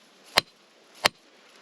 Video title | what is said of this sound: Precambrian Along Estes Creek | when you hit it with the hammer it kind of had a ring to it and and the hammer would bounce back same as this very very very hard